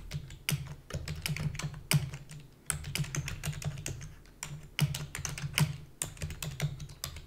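Rapid typing on a black full-size plastic computer keyboard with hollow key housing, with the keys pressed quickly by fingertips with long natural nails. Sharp, bright clicks and clacks tumble in an uneven stream, with a few louder key strikes standing out. A steady low hum sits underneath.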